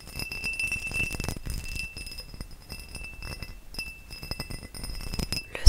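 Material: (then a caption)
Crystal glass. A tall, hollow, empty faceted cut crystal glass vase is held beside the mic and tapped with nails and fingertips. The result is a steady run of soft, quick clicks and clinks over a low, muffled thump, with a faint thin ringing tone near 2.7 kHz and a brief bright sparkle. The clip ends on a sharper, louder knock.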